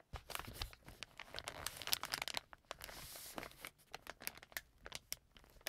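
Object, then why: Plastic film wet wipes pack. A green plastic-film wet wipes pack lies flat on a table while fingertips and nails rub and press it, then it is picked up and crinkled. Dense, bright crackles and crinkles come in quick bursts, with a brief steady rustling hiss in the middle and little low end.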